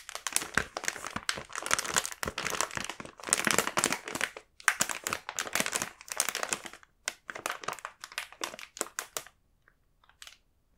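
A sealed, full, medium blue printed plastic film bag of Balance Power snack bars is held in both hands and turned over while fingertips crinkle the film. Dense, bright crinkling comes in bursts for about nine seconds, then a few faint rustles follow before it goes quiet.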